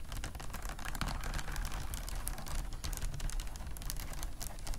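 Long nails tap and scratch quickly across the faceted glass or acrylic bead flowers of a vintage beaded clutch lying flat on a fluffy mat. The result is a dense, continuous stream of bright, crisp clicks and rattles over a steady low rumble.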